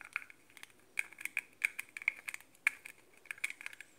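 A translucent hollow plastic cap on a pink metallic Victoria's Secret cosmetic spray bottle, likely a body mist, is handled and tapped with fingertips and nails. It gives quick, bright plastic clicks and light scratchy taps with no ring. The sound is thin and high, with a clicky tone near 2.2 kHz.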